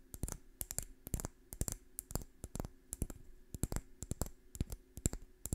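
A small, dry brown pine cone is held in one hand while long fingernails scratch and flick across its scales close to the microphone. The result is a rapid, irregular series of short, dry clicks and ticks with a faint low hum underneath.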